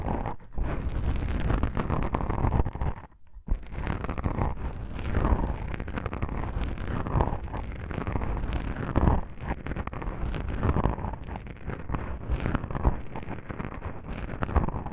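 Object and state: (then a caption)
Foam microphone windscreen. Long pink nails on both hands scratch and rub black foam microphone windscreens, producing a dense, continuous low rumble of muffled scratching with no bright content. The soft foam scraping pulses unevenly throughout, with a brief quiet gap near three seconds.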